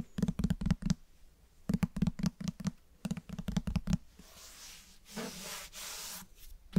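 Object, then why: Cloth-covered hardcover book. Fingertips and nails tap and scratch a closed, solid, medium grey-beige cloth-covered hardcover book held up close to binaural microphones. Three bursts of quick, dull, low taps are followed by soft, breathy scratching strokes across the cover and spine with a bright, hissy texture.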